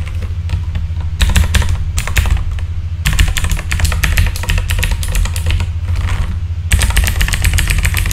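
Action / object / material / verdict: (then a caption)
tap / mechanical keyboard with plastic keycaps / plastic / none. Fingertips type on a full-size backlit mechanical keyboard with plastic keycaps, making rapid bursts of bright, clicky keystrokes. The clicks ride over a steady low rumble and come in dense runs, with short lulls around the one-, three- and seven-second marks.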